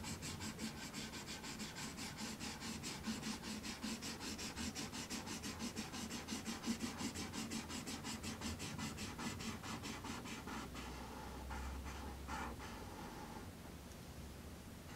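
A marker tip scratches and rubs firmly across a thin sheet of black paper resting on a red wooden tray while coloring. Quick, rhythmic back-and-forth strokes make a bright, dry rasp that continues steadily. The strokes thin out and fade near the end.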